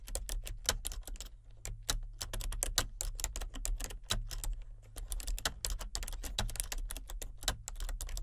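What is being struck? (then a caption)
Plastic computer keyboard. Fingertips with painted nails type steadily on a full-size plastic computer keyboard with color-changing backlit keys. A rapid, irregular stream of clicky key presses, each short and bright, rides over a steady low hum.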